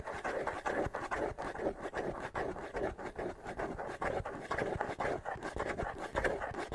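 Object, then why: Wooden bongo drum with skin head. Fingertips scratch the skin head of a small, hollow wooden bongo drum held up in the air, using quick, repeated strokes. The result is a dense, dry, rasping scratch centered in the midrange, with a slight hollow body tone. Each stroke swells and fades almost at once, with little ring afterward.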